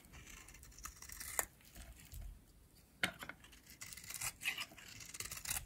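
A pink, oval, solid, dry bar of soap is scraped with a metal blade by a hand with long nails, and brittle flakes break off. The result is a quiet, bright, dry scraping and crinkly crackle, broken by sharp cracking snaps.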